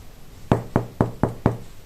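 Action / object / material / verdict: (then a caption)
knock / whole-wheat sourdough bread loaf / bread / hollow. A round whole-wheat sourdough loaf, just out of the oven after baking for an hour at 200°C, is knocked on five times. Each knock is a short, dull, hollow thud centered low around 117 Hz that dies away almost at once. The hollow sound shows the loaf is baked through and done.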